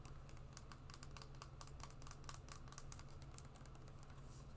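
Long nails tap and scratch the suede upper and wedge of a brown suede wedge shoe held in both hands. The result is a quick, quiet run of soft, bright clicks and scratchy rustles, with no ring, over a steady low hum.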